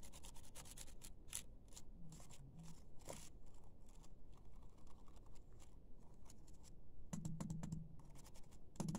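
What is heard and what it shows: A round makeup brush on a silver handle rubs and brushes across the black plastic keys of a laptop keyboard. It makes a soft, continuous scratchy swishing with quick bright bristly bursts and faint key rattles, staying quiet and steady throughout.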